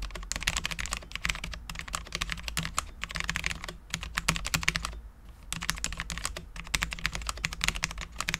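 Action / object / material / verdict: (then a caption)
tap / low-profile mechanical keyboard, ABS keycaps, steel plate / ABS plastic / none. Both hands type steadily with their fingertips on a Cherry MX10.0 full-size low-profile mechanical keyboard with Cherry LP switches, dark ABS keycaps and a steel plate. The result is a dense run of short, bright, crisp taps that die away almost instantly, with a brief pause near the middle. A steady low hum sits underneath.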